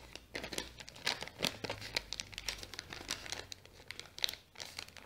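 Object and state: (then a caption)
Kraft paper bag being scratched and crinkled. Long nails scratch a small brown kraft paper bag with a sticker while fingers crinkle its folded top. The result is a quiet, steady run of crisp, bright crinkles and scratchy rustles in quick, irregular bursts, with almost no low end and no ring after each sound.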